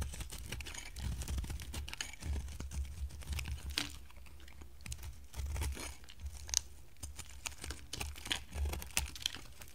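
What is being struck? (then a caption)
Bar of soap. A solid, hand-sized oval orange bar of dry soap is shaved and carved with a box-cutter blade while held in the hand. Short, crisp crunching and tearing scrapes come one after another with bright, sharp edges over a soft low rumble, each cut stopping dead with no ring.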